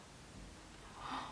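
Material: Nothing is struck.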